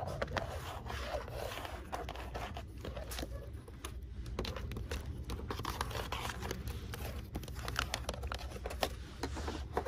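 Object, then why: Plastic blister card with cardboard backing. Long manicured nails and fingertips tap and scratch the hollow clear plastic domes and the flat cardboard of a valentine blister card holding purple, green and red plastic toy yo-yos. The result is a dense run of quick, bright plastic clicks and scratchy rubs over a steady low rumble.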